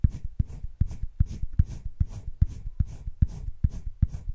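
A hand-held colored pencil rubs dense shading strokes across flat cream drawing paper in a wire-bound spiral sketchbook. Quick, steady back-and-forth strokes make a soft, dry scratching rhythm. Each stroke lands as a short, low-heavy thud with faint bright hiss.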